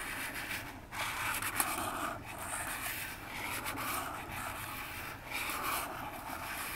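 Long fingernails scratch and tap the front face of a hollow, upright orange cardboard phone box. A steady, papery scratching hiss rises and falls throughout, broken by a sharp tap at about 1.6 seconds.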